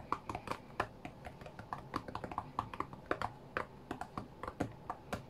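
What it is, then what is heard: Glass-screen tablet. Fingertips tap quickly on the glass touchscreen of a flat white iPad while playing a rhythm game. The result is a rapid, uneven stream of short, dry clicks with a mid-pitched tick around 1 kHz and almost no ring after each touch.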